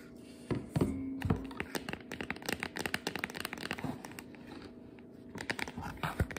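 Long nails tap and scratch the lid and sides of a clear round plastic food container, partly filled with flour and sitting on a cutting board. The result is a dense run of quick, dry clicks and short scraping rasps with almost no ring, louder in brief bursts near the start and end.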